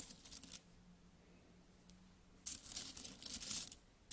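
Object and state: Metal coins being handled.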